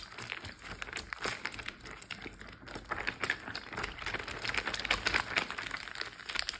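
A large, clear plastic Ziploc bag full of water lies flat while fingertips and short nails tap and scratch its surface, crinkling the plastic. Dense, bright crackles and soft ticks come in quick, uneven bursts over a faint low wash, with no pauses throughout.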